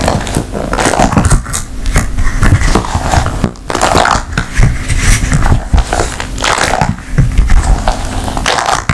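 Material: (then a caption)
Silicone. An empty blue silicone ice cube tray is flexed, squeezed and tapped with long nails on its hollow cells. This makes a steady run of dull, rubbery crunches and soft crackling taps, heavy in the low end. There is a brief lull just past the midpoint.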